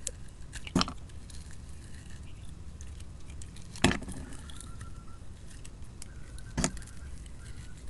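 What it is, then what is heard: Soap bar being scraped with a blade. A utility knife blade scrapes across the face of a solid, hand-sized oval bar of dark blue soap with a purple glitter layer, held in the palm, leaving streaks. Three sharp, bright scraping cuts stand out against a steady low rumble and faint soft crackling between them.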